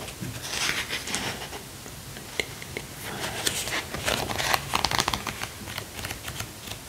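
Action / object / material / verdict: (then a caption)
tap / hardcover book with cloth-covered board cover / cloth, board / none. Fingertips tap and scratch the front cover of a large, dark hardcover book with a cloth- or paper-covered board cover, held upright in the same hand. The result is soft, irregular dry scratching and crinkly brushing with short, sharp taps, and a faint whisper in the background.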